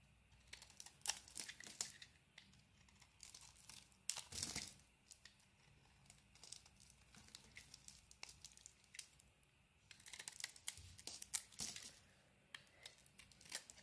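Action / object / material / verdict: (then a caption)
scrape / coated bar of soap / soap / none. A solid white bar of soap with a bronze-coated surface, held in the hand, is shaved with a utility knife blade, leaving a pile of dry flakes beside it. Quiet, bright crisp scraping and crackling strokes come in uneven bursts, some louder than others, with short pauses between passes.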